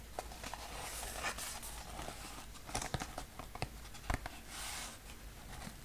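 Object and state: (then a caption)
Small cardboard box. Fingertips tap and rub the top of a small square brown cardboard box held over an open shipping box. Soft, dry taps stand out against a steady papery scratching with a bright hiss, and each tap dies away almost at once. The overall sound stays quiet and close.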